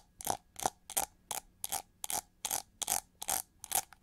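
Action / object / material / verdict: scrape / plastic hair brush with ridged back / plastic / none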